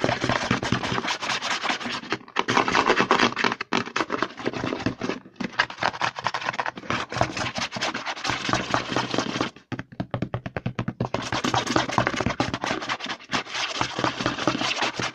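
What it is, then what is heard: Plastic lotion bottle. Fingertips and short nails rapidly tap and scratch the label side of a hollow, medium white plastic CeraVe lotion bottle with a green pump cap, held in one hand. The result is a dense, fast stream of hollow plastic taps and bright scratching, with brief pauses near 2.3, 3.7 and 5.2 seconds. Around 10 to 11 seconds it thins to sparser, separate clicks before the rapid scratching resumes.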